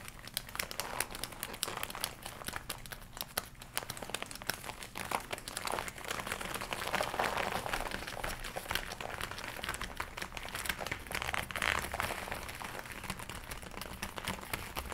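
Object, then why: Leather jacket. Long nails scratch and hands rub the sleeves and upper arms of a glossy black leather jacket worn on the body, with the arms crossed. It makes a steady stream of soft, dry crinkling and scratching with many quick, bright ticks, growing a little fuller and louder through the middle.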